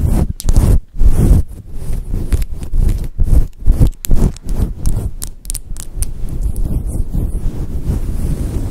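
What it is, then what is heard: Faux fur microphone windscreen being scratched. Long acrylic nails scratch a fluffy grey and white synthetic fur windscreen covering a microphone. The result is a deep, muffled rumbling rustle, with almost all of its energy in the low end. Bursts of scratching come in quick strokes with short silent gaps early on, then settle into a steadier scratching.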